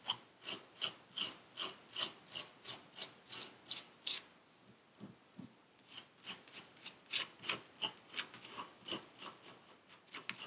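A gloved hand scrapes packed purple kinetic sand in a paper cup with a metal pick that has a wooden handle. It makes 28 short, bright, raspy scraping strokes at a fairly steady pace. There is a quiet pause of about a second and a half in the middle with only a couple of faint strokes before the scraping resumes.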